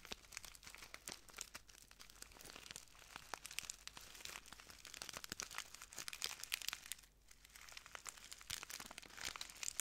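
A small clear plastic bag full of translucent granules is crinkled and squeezed by the fingertips of both hands. Soft, bright crinkling and dense rapid crackles run almost continuously, with very little low end and a brief quieter lull near the seven-second mark before the crinkling picks up again.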